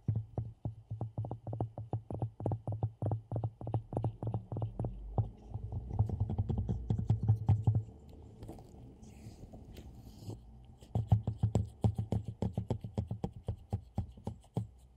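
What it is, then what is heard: Ceramic mug tapped with gloved fingertips. Gloved fingertips tap the rim and sides of a hollow, black glossy ceramic mug with a handle. The quick, dull taps come in uneven bursts with a low, hollow body and very short decay. A stretch of steadier rubbing-like texture sits in the middle before the tapping picks up again.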